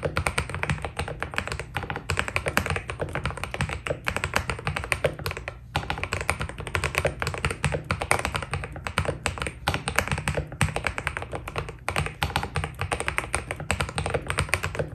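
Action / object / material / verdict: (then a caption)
tap / mechanical keyboard with PBT plastic keycaps / plastic / none. Fingertips of both hands type rapidly on a white Keydous NJ80 mechanical keyboard with PBT plastic keycaps, a steel plate and foam inside. A dense, steady stream of short, dry taps carries a deep thocky body under a bright clack, each keystroke dying almost instantly. The typing pauses briefly just before the six-second mark.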